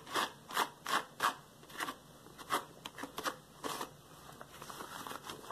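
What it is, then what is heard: Rubber gloves rubbed and slapped. Yellow rubber latex gloves worn on the hands are rubbed and slapped quickly together, finger against finger. The result is a fast series of short, bright, squeaky rubber bursts centered around 1 kHz, tailing off into quieter, continuous crinkly rubbing.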